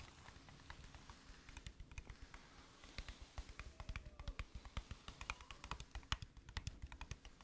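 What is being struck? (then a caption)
Thin metal tin box. Long nails tap and scratch along the narrow side edge of a flat, hollow gold-green metal tin held in the hand. The result is a quiet, rapid, irregular run of dry clicks and ticks, each with a soft low body and a brief bright edge, dying out almost instantly.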